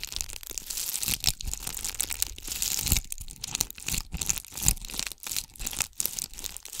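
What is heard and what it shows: A palm-sized ornament ball covered in red and gold bugle tube beads is scratched with long acrylic nails of both hands. Dense, bright clicking and crinkly scraping comes in uneven bursts, with short dry taps and almost no ring.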